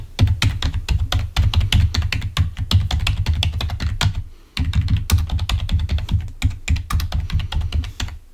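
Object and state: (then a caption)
Plastic computer keyboard. Fingertips of both hands type rapidly on a full-size, wired, black plastic Microsoft membrane keyboard lying on a white table. Dense, quick key clicks with short, bright ticks ride over a deep, thumping low end, with one brief pause just past the midpoint before the typing resumes.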